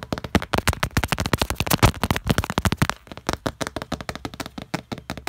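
Fingertips and nails tap rapidly on the surface of a flat glass wall mirror, with the hands reflected in it. About thirty quick, dry clicks come in a steady rush, packed tightly for the first three seconds and then slightly more spaced. Each tap has a bright edge over a soft low thump and dies away almost at once.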